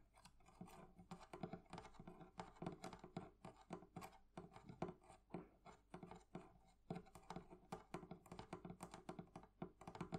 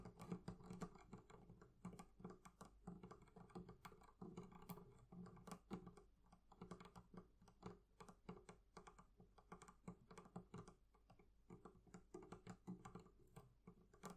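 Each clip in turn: First: metal fittings on a wooden barrel chest. Second: leather covering on a barrel chest.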